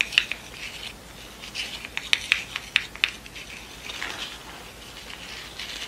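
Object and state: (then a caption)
Satin ribbon rosette with cardboard centre. A yellow pleated satin award rosette with a cardboard center disc lies on a table while long nails tap and scratch across the center and the ribbon pleats. Quick, dry, bright clicks stand out over a soft, high scratchy rustle.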